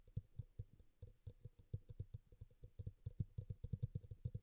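A small, glossy teal bowl, likely plastic, sits hollow and upside down on a towel while one hand taps and scratches its side with fingertips and nails; a pink bowl beside it stays untouched. It gives a quick, irregular run of soft, dull, low-pitched taps with almost no ring, mixed with faint bright scratchy clicks.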